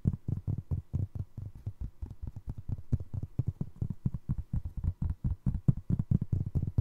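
Fingertips and nails scratch and tap the ridged sole of a single navy blue foam resin Crocs clog. The result is a quick, slightly uneven run of soft, dull, low thumps with a faint scratchy edge and no ring after each hit.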